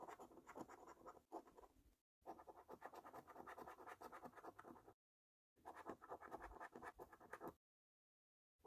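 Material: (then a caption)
Paper. A metal coin held between thumb and fingers steadily scrapes the scratch-off coating from a thin paper lottery scratch card, flaking it off the game boxes. Quick, dry, rasping strokes come in three bursts separated by short silences, with a faint tail at the end.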